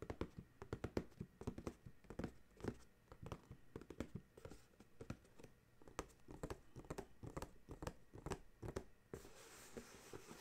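Fingertips tap and scratch the top of a paperboard dryer sheets box resting on a towel, with hands moving over its surface. Quick, dull, close taps come in uneven bursts over soft scratching. Near the end the tapping gives way to a steady, brighter rubbing hiss.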